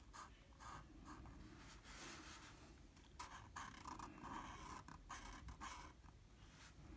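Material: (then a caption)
Paper. A blue felt-tip marker colors enclosed shapes on a flat sheet of drawing paper with short rubbing strokes. The result is a quiet run of squeaky, scratchy strokes in an uneven rhythm, each with a bright hiss and a squeak near 1 kHz, over a faint low rumble.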